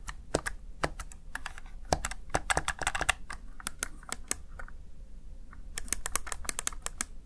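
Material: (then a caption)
Plastic. Fingertips with short nails press and tap the keys of a small black plastic backlit Razer Tartarus Chroma gaming keypad, seen close at an angle. The keys give off quick runs of sharp, bright plastic clicks and clacks with short pauses between bursts, each tap dying away almost instantly.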